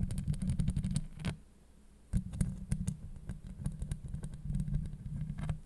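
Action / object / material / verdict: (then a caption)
scrape / steel mesh microphone grille / steel mesh / none. Long acrylic nails scratch and tap rapidly on a hollow steel mesh microphone grille, making dense, crisp clicks over a deep, boomy low rumble. The sound briefly falls quiet near the middle, then starts again with a sharp tap and continues as fast, scratchy tapping to the end.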